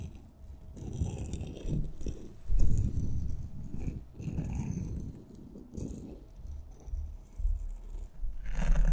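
Two glitter-coated solid wooden pencils, one purple and one red, are held horizontally in both hands and rubbed and scraped against each other. The sound is a low, dense rustling and scraping in uneven bursts, with occasional bright crackles riding on top.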